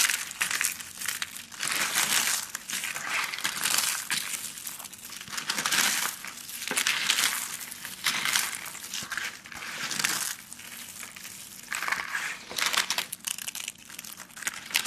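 A hand presses and crushes a pile of thin, brittle, dry yellow soap shavings on a blue surface, scooping and squeezing handfuls. The result is a bright, dense crinkling crunch with no low end, rising and falling in repeated swells as each handful is squeezed.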